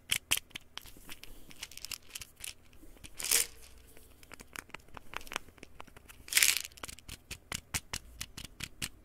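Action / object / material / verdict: scrape / plastic pill bottle / plastic / none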